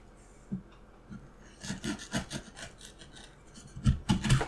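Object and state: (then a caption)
Wooden block being carved. A steel carving knife scrapes and cuts into the patterned face of a solid, light wooden carving block. Short, irregular rasping strokes come in bursts, each with a dull low thud and a bright, dry scrape that dies away almost at once. The strokes grow denser and louder toward the end.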